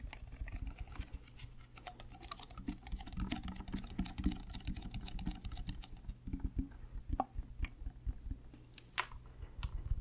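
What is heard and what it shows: Fingernails rapidly tap a white plastic Prime sports drink bottle with a black cap, held sideways near the mic and apparently full. The sound is a dense, continuous patter of short, dull clicks with a heavy low-end thud and a steady low hum beneath. A few brighter, sharper ticks stand out toward the end.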